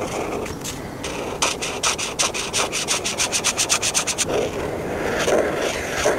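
A felt-tip marker is rubbed back and forth over a thin paper coloring book page with a sunscreen tube drawing, filling in colors. Softer, scattered scratching gives way to a run of quick, rhythmic strokes with a bright, dry hiss in the middle of the clip, then eases back into lighter, uneven rubbing.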